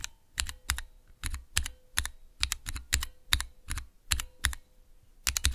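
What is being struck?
Mechanical key switches with clear plastic keycaps.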